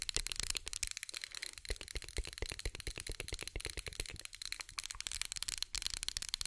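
Long nails tap and scratch the ribbed glass of a small orange pumpkin-shaped glass candle holder with a lit candle inside, held in the hand. A rapid, steady stream of sharp, short clicks rings bright and high, with a faint scratchy hiss running between them.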